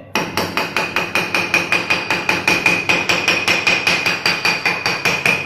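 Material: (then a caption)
Porcelain. A mallet strikes already-laid, dry porcelain floor tile in a bedroom, testing whether the tile leveling system used to set it left the floor hollow. About 28 quick, evenly spaced taps produce a bright, ringing click around 2.4 kHz with little low end and no hollow sound. The tile is solid.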